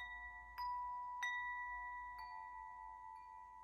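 A hollow metal tube wind chime is held up and swung so its striker rings the tubes. Two clear strikes and a softer third tap sound, each leaving bright, sustained metallic tones centred near 2 kHz that ring on and slowly fade.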